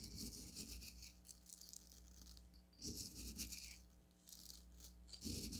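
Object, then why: Coarse bath salt crystals in a small stone cup. Fingertips with long nails pinch, lift and drop coarse blue bath salt crystals in a small onyx stone cup. A bright, gritty rattle of tumbling crystals rises in bursts over a steady low hum, with the loudest bursts near 3 seconds and again at the end.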